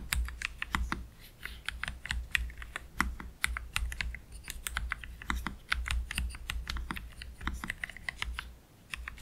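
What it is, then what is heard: Low-profile mechanical keyboard with plastic keycaps. Both hands type slowly with their fingertips on a black Keychron K3 Pro low-profile mechanical keyboard with Gateron Red low-profile switches and plastic keycaps, resting on a desk mat. An uneven run of short, bright clicks and clacks cuts off almost instantly, over a steady low hum.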